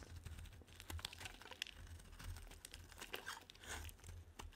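A solid pink rounded bar of soap held in the hand is shaved with a metal blade into curled flakes. Each pass gives a quiet, dry, crinkly scrape with short bright crunches, heard over a steady low hum.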